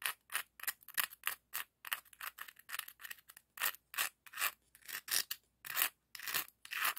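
A hand-sized, hollow, empty red-orange ribbed scallop shell held in the hand has its ridges scraped and rubbed with a dark, rough scallop shell. The result is a run of short, dry, raspy shell-on-shell scratches, bright and hissy with almost no low end, each stroke stopping quickly with little ring.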